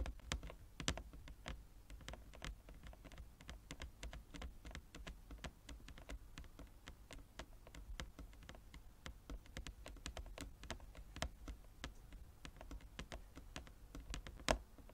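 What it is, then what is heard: Wooden chess board. Fingernails of both hands tap rapidly across a large, flat, inlaid wooden chess board. Dozens of light, dry, bright clicks patter at an uneven pace over a steady low hum. A couple of sharper taps stand out near the start and just before the end.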